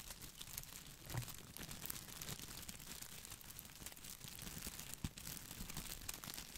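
An artificial boxwood ball with glossy plastic leaves is held over and beside the microphone while fingertips scratch and rub the leaves. The result is a continuous, close crinkling and crackling rustle with bright, dry clicks over a soft low rumble, with a couple of louder crunchy bursts standing out.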